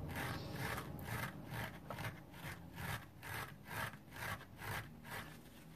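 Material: Nylon, foam.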